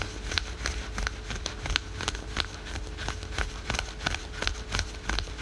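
Fingernails rapidly scratch patterned spandex/polyester yoga pants worn over the knee, producing a quick, uneven series of short, bright, raspy scrapes on the printed synthetic stretch fabric. Each scratch cuts off almost instantly over a low rumble and a faint steady hum.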